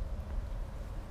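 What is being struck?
Nothing is struck.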